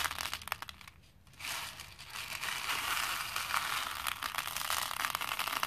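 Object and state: Plastic faux pearl beads dropped into a plastic bowl.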